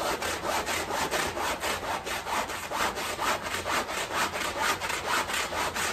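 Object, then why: Fabric rug scrubbed with a stiff broom. A small, dark, soapy wet fabric rug lying on tile is scrubbed back and forth with a long-handled stiff push broom. Each stroke makes a steady, rhythmic, raspy swish with a bright, bristly hiss.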